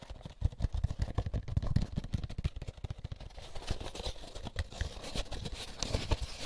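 Fingertips scratch and rub the egg cups and end wall of an empty molded paper pulp egg carton, making a rapid series of dry, dull tapping scrapes. The sound is mostly low and thumpy, with faint brighter scratchy texture in the second half.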